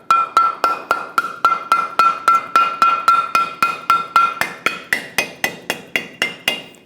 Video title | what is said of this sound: How to Replace Front Lower Control Arms 2001-2006 Chevrolet Silverado 2500 HD | You can hear that tone change